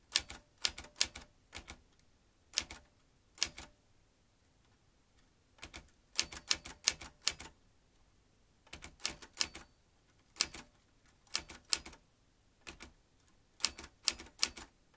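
Fingertips press the keys of a vintage metal manual typewriter with typebars and a ribbon spool, producing about two dozen sharp, bright clacks in irregular bursts separated by short pauses. Each strike is crisp and dies away almost instantly, with very little low end.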